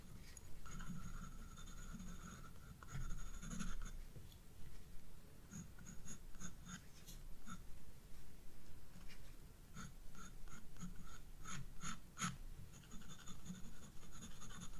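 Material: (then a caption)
Paper. A graphite pencil scratches strokes across the upper flower petals on a page of a spiral paper sketchbook. The quiet scratching comes in steady clusters of short strokes with brief bright hissy flicks over a soft low rumble, pausing briefly between runs.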